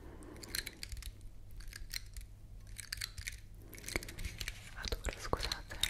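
Long nails scratch along the woody scales of a large, solid, elongated dry brown pine cone held close to the mic. It makes quick, dry crackling and clicking scrapes with bright high edges over a quiet, steady low rumble. The strokes come in bursts and grow denser and slightly louder toward the end.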